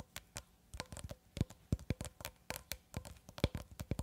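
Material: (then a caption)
Plastic. Long red acrylic nails tap and scratch on a long cylindrical roll of clear plastic cling film, held horizontally and tilted slightly at the end. The result is a quick, irregular run of short, dry, low thuds mixed with crisp scratchy clicks. Each tap dies away almost instantly.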